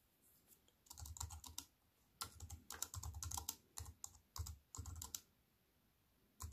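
Fingertips with long white nails type on a slim wireless keyboard with a silver aluminium frame and black plastic keys, resting on a wooden table. Quick bursts of soft, dry key taps combine bright, high clicks with low, muffled thumps. Brief pauses separate the bursts, and each tap dies away almost instantly.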